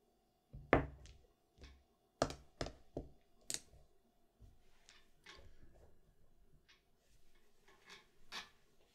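Fingertips push small, solid plastic mahjong tiles with white faces and yellow backs against each other as they stand in a row on a green felt table, lining them up. About eight short, bright clicks come at an irregular pace, each with a soft low knock underneath and almost no ring. Quieter shuffling and tapping fill the gaps between them.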